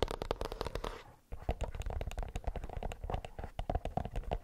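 A plastic earbuds case is tapped with the nails in quick, dense clicks. The tapping briefly fades into a soft scratching before a short pause near the one-second mark, then resumes as steady clicking with a low, hollow knock under each tap.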